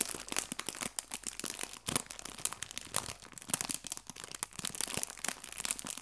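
A small, clear, thin plastic bag full of fake fabric leaves is squeezed and crinkled by the fingertips of both hands. The result is a continuous stream of bright, dense crackling and rustling with many sharp crinkles.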